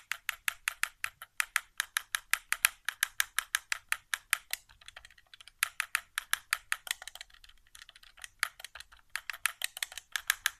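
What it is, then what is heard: Plastic game controller buttons. An index fingertip taps and clicks the face buttons of a white, hollow plastic PS4 controller resting on carpet. The result is a fast, steady stream of short, dry, bright plastic clicks with no low end and almost no ring. The clicks thin out briefly about two-thirds of the way through before picking back up.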